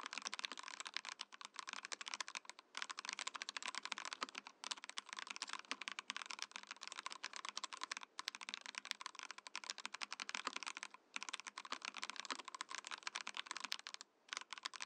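Steady, fast fingertip typing on a Mojo68 compact mechanical keyboard with a translucent plastic case and plastic keycaps fills the clip with dense, bright, short clicky key strikes. The typing has only brief pauses, near 2.7, 4.6, 8.1, 11 and 14.2 seconds.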